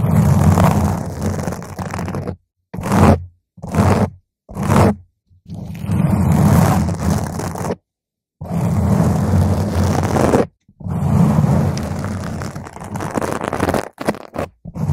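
Long pointed green nails of both hands scratch a round purple foam microphone cover. The result is dense, rumbling, bass-heavy scraping in long stretches and a few short bursts, separated by brief silences.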